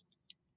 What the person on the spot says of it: If I shake it, you can hear a little rattle in there